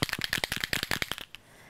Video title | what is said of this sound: Heidi Swapp- Create to Remember: Custom School Notebook | shake it until you hear the ball doing its work